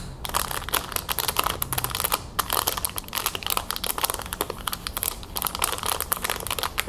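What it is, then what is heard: Plastic packaging bag, crinkling. A small clear plastic resealable bag holding a rhinestone tiara on a white card is held in the hands and tapped and scratched with long nails. Fast, dense taps and scratches make the plastic crinkle continuously for about seven seconds, with bright, crisp clicks over a soft low rustle.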